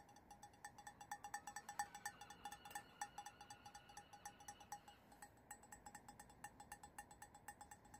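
A large, hollow cut-glass crystal vessel with a faceted diamond pattern, apparently empty, is held in the hands and tapped and scratched with fingertips and nails on its cut facets. A rapid, irregular series of quiet, short clinks rings at a clear pitch around 820 Hz with bright overtones. A soft, scratchy hiss runs underneath throughout.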